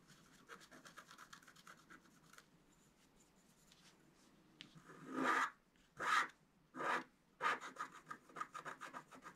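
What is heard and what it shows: A wooden stylus scratches the coating of a flat, black-coated scratch art card, making dry, papery rasping. Quick, light scratches at the start fade to near silence, then four longer, louder strokes sweep across the card before short, rapid scratches resume.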